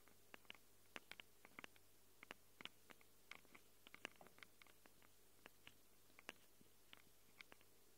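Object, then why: Handheld recorder microphone capsules, plastic and metal. Long acrylic nails scratch the metal-rimmed microphone capsules of a small handheld Tascam recorder with a plastic body. Around thirty quiet, sharp, bright scratchy clicks come in irregular bursts over a steady low hum, each dying away almost instantly.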